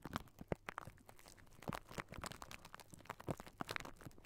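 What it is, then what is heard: Metal mesh microphone grille. Fingertips and short nails of both hands scratch and tap directly on the round metal wire-mesh grille of a large, hollow Blue Yeti-style microphone head. The result is a quiet, irregular stream of short, dry crunching taps and scratchy rustles that die away almost instantly, with a boomy low body under the brief brighter clicks.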